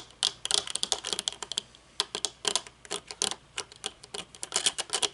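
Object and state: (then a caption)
Metal-frame sunglasses tapped. Long painted nails tap rapidly on the tinted dark lenses and metal frame of folded aviator sunglasses resting on a wooden table. The result is a quick, irregular run of sharp, bright clicks with no low end, each dying away almost instantly, with a few brief pauses between bursts.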